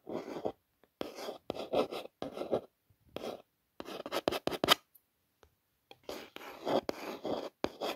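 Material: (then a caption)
Cardboard. A long fingernail traces along the raised Gucci logo letters on an orange cardboard gift box. Short, dry, scratchy strokes come in quick bursts with brief silences between them, and each stroke stops dead with no ring.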